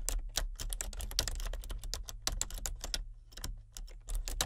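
Both hands type with painted-nail fingertips on a full-size plastic computer keyboard with color-changing backlit keys. A rapid, steady run of short, bright plastic key clicks and taps sounds over a low, constant hum.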